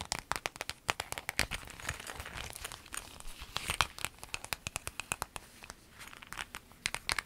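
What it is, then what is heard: Clear vinyl zip bag. A clear lemon-print vinyl zip pencil bag is lifted and crinkled, then scratched with long nails. Quick, crisp crinkles and sharp, bright scratches snap out in a dense, uneven stream over a soft hiss, each one dying away almost at once.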